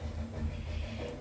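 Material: Nothing is struck.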